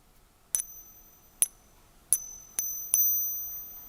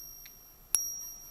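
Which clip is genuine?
The second.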